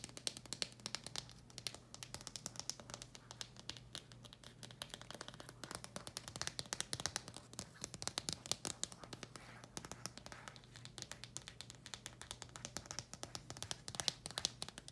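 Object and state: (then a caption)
Cardboard package tapped and scratched. A flat, thin paper-and-cardboard retail package with a plastic window, holding a screen protector, is held up and rapidly tapped and scratched with long red acrylic nails. Dense, quiet, bright clicks and scratchy rasps come in quick bursts that stop instantly, over a faint steady low hum.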